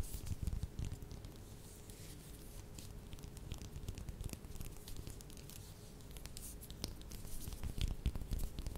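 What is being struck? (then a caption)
Small whole orange. Long red nails scratch and tap the peel of a small whole orange or mandarin held in the hands. Soft, dense, uneven scratching and light patter run throughout, with a steady low hum underneath. The tapping gets louder near the start and again toward the end.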